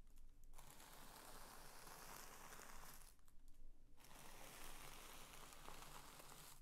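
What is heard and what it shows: A large, thin sheet of purple tissue paper lies flat on a woven bedspread while both flat hands press and smooth it, slide over it, and crinkle it. The result is a soft, continuous rustling and crinkling with a bright hiss, broken by two brief quieter gaps near the start and in the middle.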